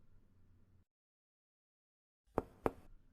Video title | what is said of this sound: IBC II SEMIOLOGIA RESPIRATORIA | acá el sonido es timpánico el sonido cambia porque estamos percutiendo sobre el estómago un gran órgano hueco